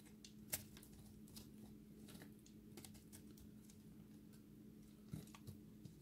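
A utility-knife blade shaves a solid, dry recycled soap ball so that chunks crumble off. It makes a quiet run of dry, crackly scrapes and soft crumbling ticks, with a few sharper snaps standing out, over a steady low hum.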